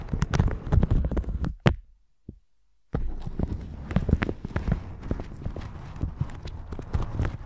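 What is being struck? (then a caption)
Plastic shower cap over a microphone. A plastic shower cap stretched over a microphone is brushed with a red silicone bristle brush, giving dense, low, thumping crinkles and scratchy strokes. The brushing stops for about a second of near-silence with one faint tap, then resumes steadily to the end.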